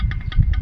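An old metal shock absorber from a Toyota Avanza is pressed by hand right next to the microphone, giving a quick series of dull, low knocks with almost no ring. The knocking comes from internal play because the inner bushing no longer fits. The absorber is worn out and dead, and this play makes the car knock when it hits potholes.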